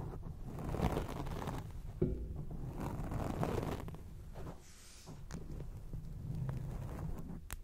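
Long acrylic nails scratch quickly over a grey foam microphone windscreen, making a dense, muffled, low rumbling rustle. The scratching swells and eases over several seconds, with a few brief bright ticks near the end.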